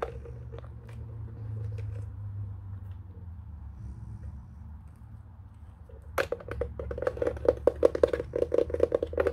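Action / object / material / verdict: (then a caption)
tap / plastic telephone base housing / plastic / none. Fingernails scratch and tap the flat underside and rubber feet of a white plastic telephone base turned upside down, its hollow housing giving a boxy, mid-pitched knock. Soft, quiet scratching over a low background hum fills the first six seconds. Then a quick, uneven run of sharp, dry taps with brief bright clicks begins.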